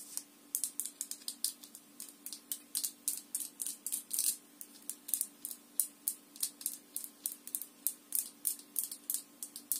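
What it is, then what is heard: Glass jar with plastic lid, tapped and scratched with nails. Long nails tap and scratch the orange lid and the glass of a small clear glass jar filled with pale powder, held in one hand. About 47 quick, bright, crisp clicks and scrapes come in a steady, uneven rhythm, each dying away almost at once. The clip is quiet overall, with a faint steady hum underneath.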